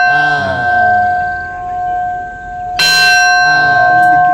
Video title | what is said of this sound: Religious Tour at Bukit Doa Kalimantan | Bunyinya tong, kan kedengarannya luas sekali.